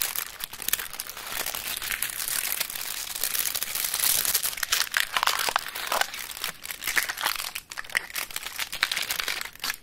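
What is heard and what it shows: Long acrylic nails tap and scratch quickly across a solid, flat chocolate bar still in its aluminum foil wrapper as it is held and handled. The result is a dense, bright stream of crisp crinkling and scratchy clicks with almost no low end, each tap dying away almost instantly.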